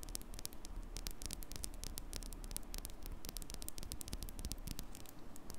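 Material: Metal mesh.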